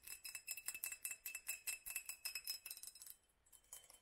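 A small hollow glass mason jar, held in the hand with its lower half wrapped in a black studded sleeve, is tapped with long pink nails on the clear glass and on the studs. A quick, uneven series of bright, high clinks rings with a steady tone around 2.6 kHz, each tap fading fast. The taps pause briefly near the three-second mark, then return softer and duller.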